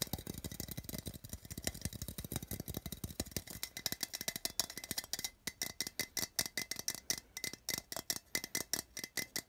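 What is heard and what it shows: Fingernails tap and scratch the printed side wall of a small hollow metal tin with a colorful printed wrap, held in the hand. A fast, dense stream of sharp, bright clicks with a light scratching texture opens the clip, then settles into slower, evenly spaced taps. Each click is dry and dies away almost at once.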